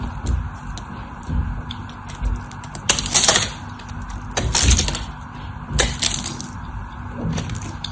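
A craft knife blade chips and cuts into the scored surface of a solid white soap bar held in both hands, cutting it into cubes. Crisp, crunchy scraping cuts come in irregular bursts with bright, high crackle, over a steady low background rumble.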